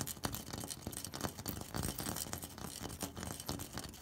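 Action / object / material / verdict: scrape / terracotta roof tile / terracotta / none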